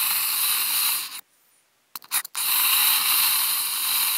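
Two wooden toothpicks scratch across a large, hollow, empty, octagonal white polystyrene foam food container lid, making a bright, steady, hissing rasp. The scratching stops briefly, gives way to a few short scrapes, then resumes and continues evenly to the end.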